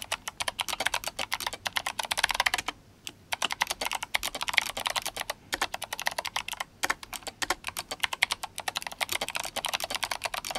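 Fingertips of both hands type fast on a GMMK Compact RGB-backlit mechanical keyboard with clicky Kailh Box White switches and plastic SA keycaps. The result is a dense stream of sharp, bright clicks with brief pauses around 3, 5.5 and 7 seconds, and each keystroke dies away almost instantly.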